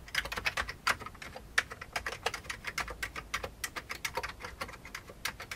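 Fingertips of both hands type steadily on the keycaps of a full-size old beige plastic computer keyboard with a hollow plastic case. Dozens of quick, bright, clacky keystrokes follow one another with almost no ring, some landing harder and louder than others, over a faint low background hum.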